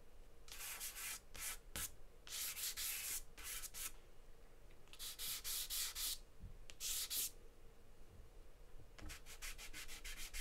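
A charcoal stick held in the fingers scribbles and scratches in steady strokes across a large sheet of white drawing paper taped flat on a table. Bursts of bright, dry scratching hiss come in longer sweeps and quick short strokes, with brief pauses between them and a rapid run of short scratches at the end.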